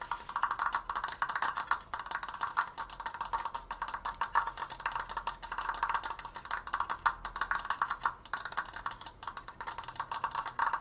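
Fingernails fast-tap the left slat of a large stained wooden Triforce frame held upright. The result is a rapid, continuous stream of short, dry clicky knocks with a woody tone centered around 1.2 kHz and a bright edge. Each tap dies away almost instantly.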